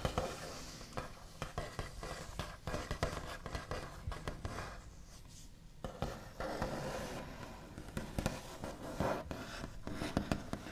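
Both hands tap and scratch rapidly with the backs of the nails on the large, solid, smooth top of a white-finished wooden table. The result is a dense run of short, dry clicks over a continuous low, scratchy rustle, with a brief quieter stretch of tracing before the tapping picks back up.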